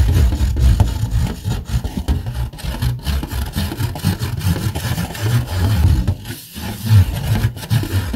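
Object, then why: Rigid plastic plate. Fingernails scratch the underside of a red rigid plastic plate. They make a steady, dense rubbing and scraping that is mostly low and rumbling, with little high-end brightness. The scratching rises and falls in short strokes and pauses briefly near the end.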